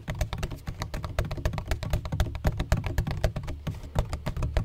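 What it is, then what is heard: Plastic ring-shaped bottle. Fingertips and nails tap and scratch the textured, speckled face of a large black, donut-shaped, hollow plastic bottle with a red cap. A rapid, irregular stream of short, dry taps carries a deep, hollow thump under each hit, with faint bright clicks and soft scratching between them.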